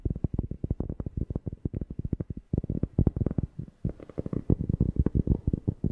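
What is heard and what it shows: A cork object is tapped rapidly near a microphone, producing a steady stream of short, deep, bassy thumps. Each tap dies away almost instantly with no ring. The run pauses briefly twice before picking up again with slightly louder taps toward the end.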